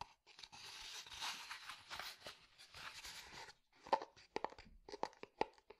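A small, hollow, unglazed terracotta flower pot is held on its side and scratched and tapped on the outside with fingertips and nails. The first half is a continuous dry, rasping scratch across the clay, followed by a string of sharp, separate taps with a short, hollow ring that dies away almost at once.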